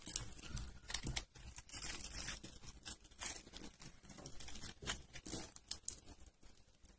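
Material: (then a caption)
Soap. A metal blade cuts and scores a solid, pale yellow bar of dry soap held in a hand with purple nails. The result is a quiet, continuous run of dry, crunchy scraping and crackling bursts, bright and hissy on top with soft low thuds underneath, each crunch dying away almost instantly.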